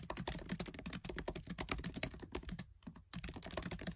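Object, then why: Plastic laptop keyboard keys. Fingertips with short nails type fast on the black plastic keys of a MacBook Air keyboard set in an aluminium body. Dense, slightly irregular clicks and taps run throughout the clip, with a brief pause a little past the halfway point before the fast typing resumes.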